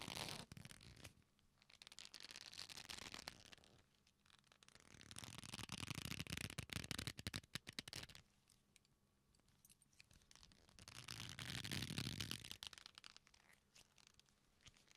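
Fingertips rub and bend the folded ends of a flat, solid black leather belt strap, producing creaking leather with crackly, bright friction. The creaking rises and fades in three long swells, separated by quieter, softer rubbing.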